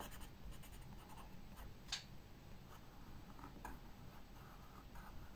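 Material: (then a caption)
Paper. A pencil draws strokes near a flower on a paper sketchbook page, scratching continuously across the paper in soft, dry, bright bursts. One sharper, brighter scratch stands out near the middle, all over a steady low hum.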